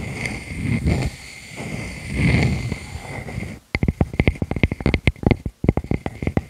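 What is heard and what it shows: Long fingernails and fingertips scratch across the cut face of a solid, palm-sized round natural wood slice with visible growth rings and a bark edge, held against a furry microphone windscreen. For the first few seconds there is a soft, low, rumbling rub that swells twice. Then, after a brief hush, comes a quick run of sharp, dry, clicking scratches that stop short, with almost no ring.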